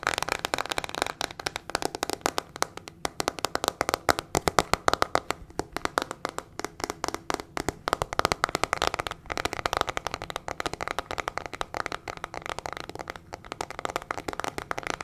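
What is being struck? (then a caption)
Plastic hairbrush with metal pin bristles. Long fingernails rapidly tap and scratch a small teal plastic hairbrush with a hollow plastic body and metal pin bristles. The result is a dense, continuous stream of fast, dry clicks and scratchy rasps with a hollow, mid-pitched plastic tone. Each click stops almost instantly, and the pace stays steady throughout.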